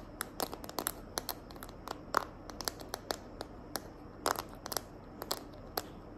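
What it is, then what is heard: Plastic phone case tapped with fingernails. Long nails tap and scratch the back of a small hand-held smartphone in a green glitter plastic case. The result is a quick, irregular series of sharp, dry clicks with bright crinkly scratching over a low, steady background hiss, each tap dying away almost instantly.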